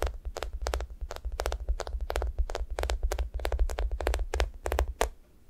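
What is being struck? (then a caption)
Foam squishy toast toy with a sticky top. Long nails scratch the sticky top surface of a thick, solid, sticky foam squishy toast, making a rapid run of short, bright, crackly tacky scrapes. A steady low rumble sits underneath throughout. The scratching stops just after five seconds, leaving a quiet tail.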